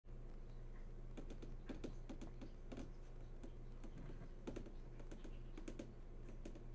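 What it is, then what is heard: Flat-screen TV panel. Long nails and fingertips tap across the hard, glossy surface of a large flat-screen TV that is switched on and showing a menu. Quick, irregular, light clicks with bright tips ring briefly over a steady low hum. The whole clip stays quiet.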